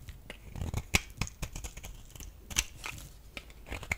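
A metal utility blade scrapes a solid, rectangular, dry beige bar of soap held in the palm. It makes irregular, crisp shaving and crackling strokes with bright, sharp edges and soft low thumps. A few louder snaps stand out among the quieter scrapes.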